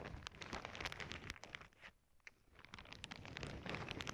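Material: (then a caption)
Plastic. Long nails and fingertips press, scratch and squeeze a clear plastic zip bag full of small clear beads lying flat on a cork board. Dense, bright crinkling and gritty clicking rustles in quick, uneven bursts, dipping into a quieter lull midway before building back up to full crunching.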